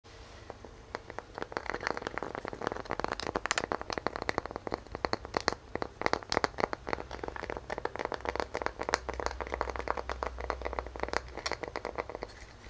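A round, palm-sized solid wood tree-trunk slice with visible growth rings and a bark edge is held in both hands and scratched and tapped across its cut face with medium-length fingernails and fingertips. A dense stream of dry, crinkly scratches and quick clicking taps fills the clip, each dying away almost instantly, with most of the sound in the mid range and a quiet low hum underneath.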